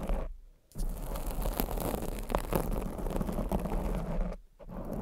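Both hands with very long blue acrylic nails scratch and tap a soft, porous black foam windscreen on a silver condenser microphone. The result is a dense, muffled, low-heavy rustling scrape with soft taps mixed in. It pauses into near silence twice, briefly near the start and again near the end.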